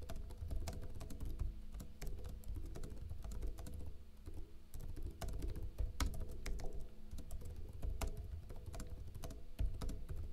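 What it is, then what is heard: Plastic laptop keyboard being typed on. Fingertips with short blue-painted nails type quickly on a backlit plastic laptop keyboard with hollow keycaps. The key taps come in a steady, dense patter of short, clicky hits that die away almost at once. A constant low hum sits underneath.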